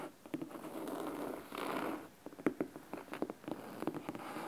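Fingernails scratch along the top edge and cloth spine of a large, thick, solid red fabric-covered hardcover book. Soft, dry rasping strokes swell and fade in the first two seconds, then give way to a run of crisp, sharp ticks and short scrapes with a mid-pitched tone. The sound is quiet and close, with little low rumble.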